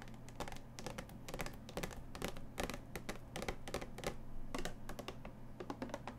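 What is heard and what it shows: Long painted nails tap and scratch quickly along the plastic sides of a small clear plastic display box, held in both hands, that holds a ceramic mug and has a cardboard label strip. The result is a rapid, uneven run of light, bright clicks and short scrapes over a steady low hum.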